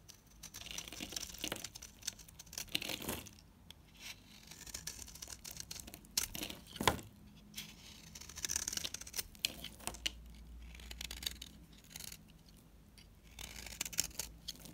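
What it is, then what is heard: Dry bar soap being cut. A solid, cream-colored bar of dry Ayu and Savoy soap is held in the hand and cut with a utility knife blade, shaving off brittle curls. Dense, bright scraping and crackling crunches come in quick bursts with short pauses between strokes. The sound is dry and crisp, with little low end and almost no ring after each cut.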